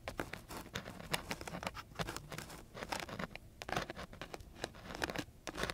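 A flat wooden stick is scratched along the grit of a coarse sheet of sandpaper, giving a quick, irregular run of dry, raspy strokes. Each short scrape flares bright and gritty, then cuts off almost at once over a faint low rumble.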